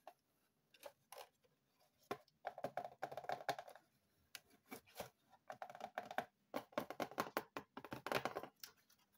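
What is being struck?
Small cardboard box.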